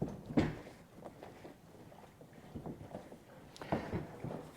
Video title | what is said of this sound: Variety vs. the SAME THING Every Time - Engels Coach Shop | I can kind of hear it sloshing around in here